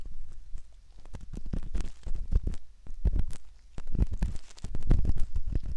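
A metal ear pick scrapes inside the canal opening of a soft silicone ear model. Heard up close, it makes a dense run of muffled, low, thumping scratches and rubs, with brief brighter crackles on top. The strokes come in waves that swell and ease throughout.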